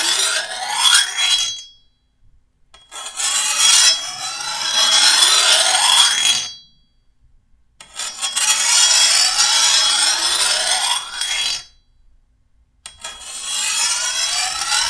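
A hand-held steel file is drawn along the edge of a long, thin, solid steel machete blade in repeated bursts separated by short pauses. Each pass makes a bright, raspy scraping with a metallic ring near 3.3 kHz and rising sweeping tones, with almost no low end.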